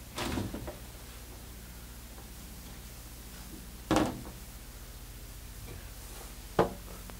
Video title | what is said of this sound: SOLD! 2009 Monaco Dynasty Nottingham 500hp $154900 | It's not like a fiberglass flimsy thing. It's really nice. I mean, you hear me knocking on it.